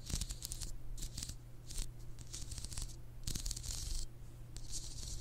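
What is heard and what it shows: Long acrylic nails scratch and rub the spikes of a white plastic or silicone spiked sleeve on the solid glass handle of a hand-sized massage ice globe with a round glass ball of green liquid, held in front of a binaural mic. Bursts of bright, dry, rasping scratches come and go over a steady low hum.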